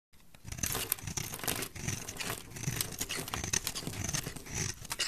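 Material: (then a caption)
Soap. A flat metal blade scrapes and shaves the surface of a solid, palm-sized pink bar of soap held in one hand with long dark nails, sending curls and flakes falling off. The result is a dense, continuous run of crisp, bright scraping and crackling over soft low rustles, with steady texture and no ringing.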